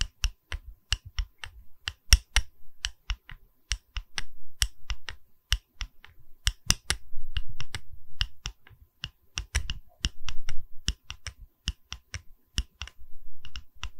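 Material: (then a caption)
Wood. Fingers tap on a wooden pedestal in a series of sharp, irregular knocks. Each tap is a short, dry click with a soft low thump beneath it and almost no ring, while occasional quieter rubbing sounds fill the gaps.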